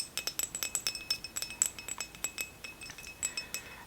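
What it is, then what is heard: Ceramic trinket dish. Fingernails tap rapidly on a ceramic Hello Kitty trinket dish with sakura flowers on its edges, giving a quick string of bright, high clinks. The taps are short and chime-like, with almost no low end.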